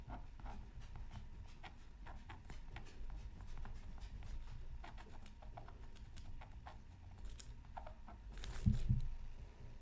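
A bamboo stylus drags in repeated scratching strokes across a flat, black-coated scratch art card from a Mythical Creatures Super Scratch Art Pad. Short, dry, bright scratches come at an irregular pace over a steady low rumble. A louder, rougher burst of scratching rises near the end.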